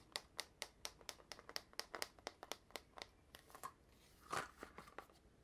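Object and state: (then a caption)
Cardboard tube with metal end caps. Fingertips and nails tap and grip a long, hollow red cardboard mailing tube with gold metal-rimmed end caps that appears empty, producing about two dozen quick, dry, bright taps that die away almost instantly. Near the end, a louder grip and scrape sounds as the tube is lifted upright, followed by a few softer taps.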